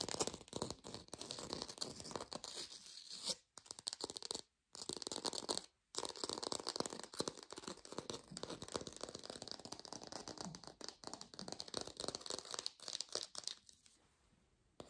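An artificial orange, probably plastic or foam, is held in the fingers and fast-tapped and scratched with long nails. The result is a dense, bright stream of crisp clicks and scratchy rustling with brief silent breaks. It fades out quietly at the end.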